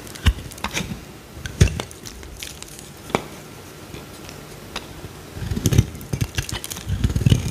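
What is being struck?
Solid bar soap cut with a knife blade.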